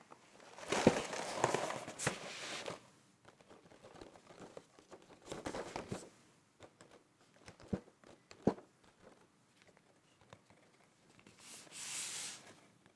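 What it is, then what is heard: Cardboard cereal box. A medium-size, hollow printed cardboard cereal box with an open side flap lies on a checked tablecloth and is tapped and rubbed with fingertips and nails on its back and side panels. Scratchy, crinkling rubbing bursts alternate with short, dry taps that die away almost instantly, with quiet pauses between.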